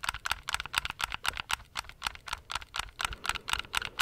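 Fingertips and nails tap and click the buttons of a handheld black plastic gamepad in an irregular run of about 22 quick, dry clicks. Each click is bright, with a tone near 1.4 kHz, and stops almost instantly.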